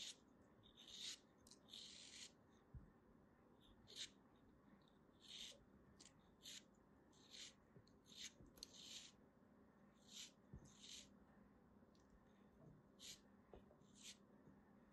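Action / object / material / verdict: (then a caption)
scrape / kinetic sand block / kinetic sand / none. A small, solid beige chunk of kinetic sand is held in the fingers and sliced again and again with a small black blade. Each cut makes a short, bright, crisp scraping crunch, heard as about fifteen quick separate slices over a soft, quiet low hiss.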